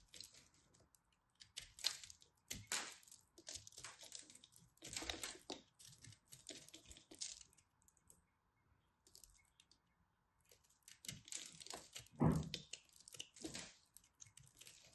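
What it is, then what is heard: Pressed soap ball scraped and crumbled. A solid pressed soap ball is scraped and cut with a craft knife, crumbling into crunchy pieces. Quiet bursts of dry, gritty scraping and crackling come in clusters with bright, crisp edges, pause briefly in the middle, then resume with a few louder crunches before the end.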